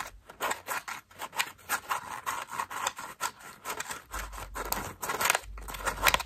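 Long nails squeeze and scratch a cream foam bath loofah, pressing its petals together. A rapid series of short, crackly, bright scratching bursts repeats throughout, with a faint low rumble rising underneath toward the end.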